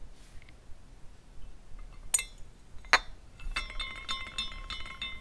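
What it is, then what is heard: Glass carousel figurine clinking. Fingers spin the top spindle of a small glass carousel figurine, making its glass horses swing and clink together. Faint tinkles lead into two sharp, bright clinks, followed by a steadier shimmer of overlapping glassy rings with sustained tones around 1–2 kHz and higher over a quiet background.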